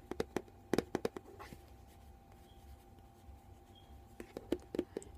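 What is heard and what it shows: A white plastic VO5 conditioner bottle, bonus size, hollow and apparently filled, is held up in one hand and tapped and scratched with the fingertips and nails of that same hand. About fourteen short, dry, hollow taps land in two clusters at the start and end. Between them is a quiet stretch with faint scratching, and each tap dies away almost at once.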